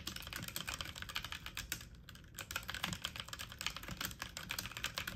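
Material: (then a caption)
Plastic. Fast typing on a full-size backlit mechanical keyboard with plastic keycaps, the keys pressed quickly with fingertips and medium-length nails. A dense, steady stream of sharp, bright clicky taps with a soft low thock under each one briefly thins out around the two-second mark before resuming at full speed.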